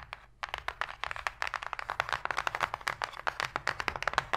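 Long pink fingernails and fingertips tap and scratch quickly on the flat inner bottom of an open, empty, shallow white cardboard box. The result is a rapid, dense run of short, dry clicks and papery scrapes, mostly bright and midrange, with almost no low end and no ring after each tap.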